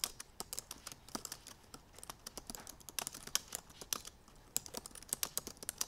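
Hands with long painted nails type rapidly on the black plastic keys of a silver aluminum MacBook Pro. A fast, uneven stream of short, bright clicks and taps is heard, with almost no low end and no ring after each keystroke.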